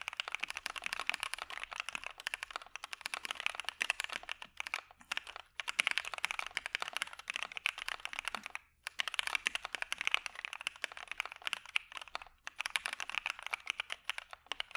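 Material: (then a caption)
Plastic. Two hands type steadily with their fingertips on a dark-cased Maja mechanical keyboard fitted with PE foam and white PBT keycaps. The result is a rapid stream of short, dry, bright clacks with no low thump. Brief pauses break the typing near 5.5, 8.7 and 12.5 seconds.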